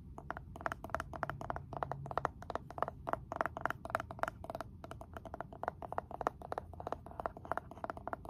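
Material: Wood.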